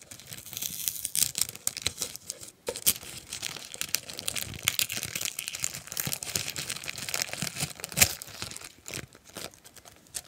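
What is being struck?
Kraft paper bag.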